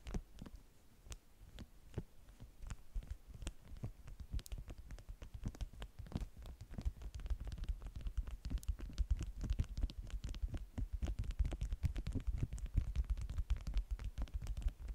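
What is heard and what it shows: Long manicured nails and fingertips scratch and rub across the top sheet of a flat stack of yellow beeswax-coated cotton food wraps. The result is a dense, muffled, low-heavy scratching with rapid, short ticks that grows busier and louder over the clip.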